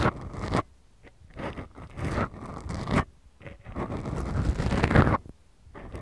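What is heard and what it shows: Long glittery nail tips scratch two small black foam windscreens on the microphones of a Tascam recorder, the soft, porous foam giving a close, rasping scrape much like a zipper. The scratching comes in slow bursts separated by near-silent pauses, heavy in low rumble and muffled, with little brightness.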